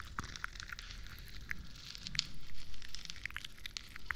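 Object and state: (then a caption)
Plastic moon lamp scratched with nails. Long nails scratch and rub a lit, hollow, spherical textured plastic moon lamp close to the microphone. Dry, crackling scratches are dotted with sharp, bright ticks over a soft low rumble. A few smoother rubbing swells rise midway through.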